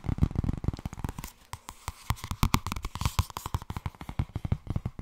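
Long red nails tap rapidly on the cover of a thin purple softcover paperback with solid paper pages while fingers riffle through the pages. The sound is a fast, uneven patter of short, dry, low thuds mixed with soft papery flutters and scrapes.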